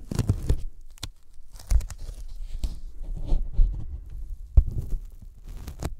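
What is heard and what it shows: Sticky fingertips tap a thin white closed-cell polyethylene foam sheet held by hand just above the microphones. The result is a run of soft, low thumps with quick, dull decays and faint sticky crackles between them.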